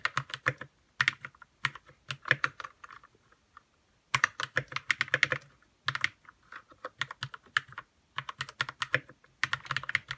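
Fingertips type on a white 60% RK61 mechanical keyboard with plastic keycaps and lubed red switches. Rapid bursts of short, crisp key clacks with a bright top and a soft low thump come in quick runs, separated by brief pauses. Each keystroke dies away almost instantly.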